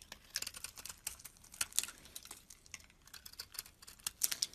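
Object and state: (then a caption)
Soap bar being scraped. A hand-sized, solid white-cream embossed bar of soap held in the palm is shaved and scraped with a metal utility blade, peeling off curls. The result is a quick run of crisp, bright scraping ticks and short rasps, dry and almost without low end, with no ring after each stroke.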